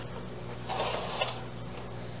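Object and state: Nothing is struck.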